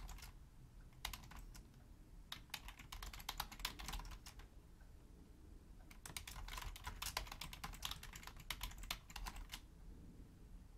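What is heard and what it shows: Both hands with long nails type rapidly on a hollow, black, full-size Logitech plastic keyboard. Two bursts of quick, bright, clicky key taps are separated by a short lull near the middle. The taps sound over a faint low rumble.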